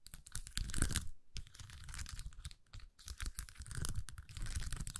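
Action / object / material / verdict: scrape / plastic sheet with acrylic rhinestones / plastic / none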